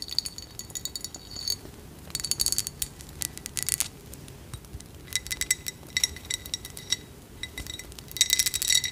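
A small, hollow, ridged cut-glass dish filled with dried flower petals is held in both hands and tapped with long acrylic nails along its ribbed sides. The result is quick bursts of bright, glassy clicks and clinks with almost no ring and almost no low end.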